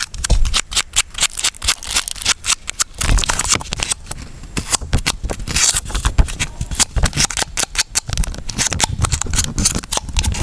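Fingernails scratch along the ridges and tap the walls of a small, clear, ridged plastic cup that is sealed, full of water, and held on its side. Dense, rapid clicks and crisp scraping rasps come in uneven bursts over a low, muffled thump from the water inside. Brief pauses break the texture before the tapping quickens again.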